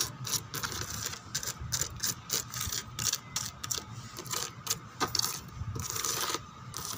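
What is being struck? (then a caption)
Molded plastic chair backrest. Long teal-painted nails scratch and tap across the backrest of a molded white plastic chair, a hollow thin shell with raised rose relief and lattice holes. The result is a dense, rapid run of bright, dry, ratchet-like clicks and rasps, with each hit dying away almost instantly and very little low end.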